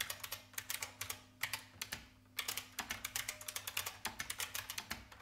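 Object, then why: Plastic mechanical keyboard. Fingertips with long red nails on both hands type rapidly on a large, hollow-bodied vintage beige IBM mechanical keyboard with plastic keycaps. About 37 quick, bright, clacky keystrokes each snap off almost instantly, with brief pauses between bursts over a faint low steady hum.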